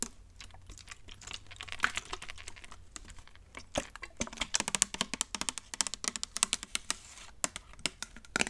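Long nails tap and scratch on the body and trigger head of a hollow, clear plastic trigger spray bottle. The result is a quick, irregular run of sharp, bright, dry clicks mixed with a faint scratchy rustle, with almost no low end and no ring after each tap.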